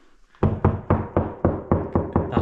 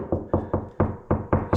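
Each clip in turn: First: hollow plywood wall over a door cavity. Second: solid plywood wall over framing.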